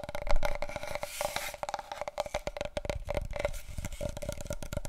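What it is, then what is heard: Large cardboard paper roll tube. Long nails tap rapidly and scratch on a large, wide, long, hollow, empty cardboard paper roll tube held diagonally. The taps come in quick, dry clicks with a hollow resonant ring through the tube, and a brief stretch of bright, rasping scratching is heard early on.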